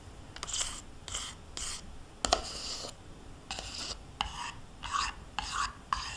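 A metal spoon scrapes the inside walls of a small, thin-walled plastic yogurt cup, nearly empty with yogurt residue and held in one hand. Short, bright, raspy scraping strokes repeat in quick bursts, with a few sharper clicks of the spoon against the plastic.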